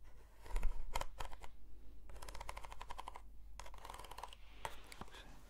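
Long nails scratch along the length and the end of a hollow, textured corrugated cardboard box. Quiet bursts of dry, crackly scraping come in several uneven runs over a low steady hum. Each stroke stops dead with no ring.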